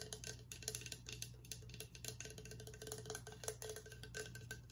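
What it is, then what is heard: Horn drinking mug, tapped and scratched. A hollow, empty, cream-coloured horn-style Viking drinking mug with a handle, about 25 cm long and made of horn or possibly a resin imitation, is held sideways in both hands and tapped and scratched with fingertips and nails along its outer surface. Rapid, dry, woody taps with a very short hollow ring around 430 Hz mix with bright, scratchy nail rasps. A steady low hum runs underneath throughout.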